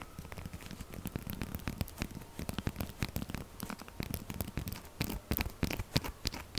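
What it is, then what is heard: Soap bar scratched and tapped with nails. Long nails scratch and tap quickly on the side of a solid pink textured soap bar held upright. Rapid, irregular dry scratches and clicks crackle with a bright edge over a soft, low, thumpy body, each sound stopping almost instantly with no ring.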